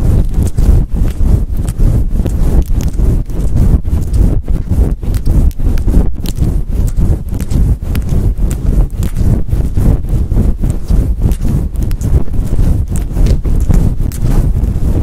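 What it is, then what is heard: Faux fur microphone windscreen being scratched. Long nails on both hands scratch and rub a fluffy faux fur windscreen on a microphone. The result is a loud, fast, continuous stream of muffled, deep scraping and thumping bursts with almost no bright content and no pauses.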